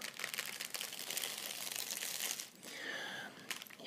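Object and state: Plastic-wrapped bundle of incense sticks.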